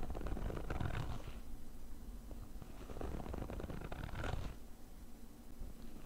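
The fabric top of a small, hollow, black padded nylon zip case is scratched rapidly with the short fingernails of both hands. This makes a dense, low, rumbling scratch with a hollow, muffled body. Brief brighter rasps swell around the first and fourth seconds.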